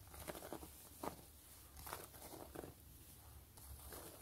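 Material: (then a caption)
Faux leather. Long glittery nails tap and scratch the stitched top surface of a long, closed, gray quilted wallet with a pebbled faux-leather surface. Four soft, dry taps stand out above a quiet, rustling scratch and a faint low rumble, with each tap dying away almost instantly.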